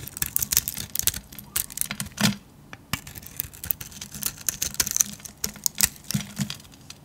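A solid bar of pink soap with a glittery painted grey coating is held in the hand and shaved with a metal blade, peeling off curls. Quick, dry, bright scraping and crackling strokes come in irregular bursts, with a brief lull near the middle. Each stroke cuts off at once with no ring.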